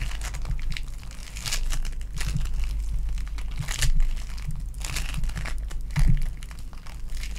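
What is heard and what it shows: A small lilac lump of foam bead clay, held over a table, is pinched and squeezed between fingertips and long nails. Dense crackling and crinkling bursts come in uneven waves over a steady low hum, with a few louder crunchy squeezes standing out.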